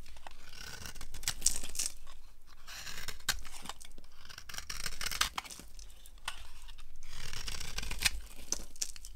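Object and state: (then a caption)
Dry soap bar being carved. A small blade with a yellow handle scrapes and carves a solid, hand-sized bar of dry orange soap held in the hand, breaking it into crumbly shavings. Bursts of dry, bright scraping and crunching come in uneven strokes with short pauses between them, over a low background rumble.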